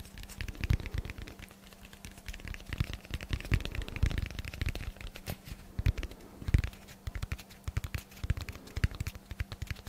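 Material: Foam.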